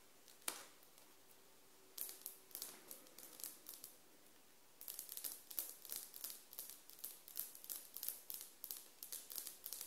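Long acrylic nails scratch and tap the surface of large, flat glazed ceramic floor tiles with grout lines and a printed SHEIN sticker in the middle, while both hands rest flat on the solid floor. A single sharp click is followed by a short burst of bright scratchy taps and a near-silent pause. Then a dense run of rapid, crisp, high-pitched clicks lasts until the end.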